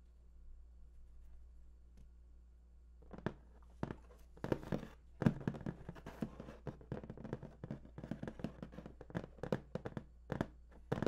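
Both hands tap and drum with fingertips and nails on the top of a large, hollow, printed cardboard PlayStation 4 box lying flat. After about three seconds of near silence with a faint low hum, a quick, irregular run of short, dry, hollow taps and knocks follows, each stopping almost at once. The taps come in bursts and clusters until the end.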